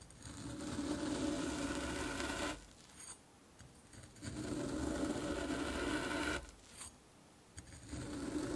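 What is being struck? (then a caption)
Kinetic sand ball and metal fork. A metal fork is pressed and poked repeatedly into the top of a solid orange kinetic sand ball resting on a dark cloth, leaving rows of small holes and loose crumbs. Two long stretches of steady, gritty crunching and scraping, with a soft low hum around 300 Hz, are separated by quieter pauses with faint brief scuffs.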